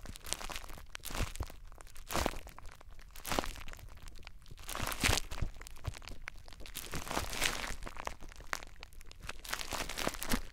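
Clear plastic bubble wrap wrapped around a small device is squeezed with the fingertips of both hands, making a steady stream of dense crinkling and sharp, bright pops. The crackles are short and dry with no ring, and brief louder bursts rise above a constant rustle for the whole clip.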